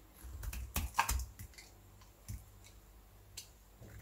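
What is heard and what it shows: A metal blade scrapes a solid, dry, beige Fair and Lovely bar soap held in one hand, lifting brittle flakes that crack and chip off the surface. It makes a series of short, dry, crisp clicks and scratchy crackles with thuds underneath and almost no ring. The hits bunch together early on, then come sparser with quiet gaps between them.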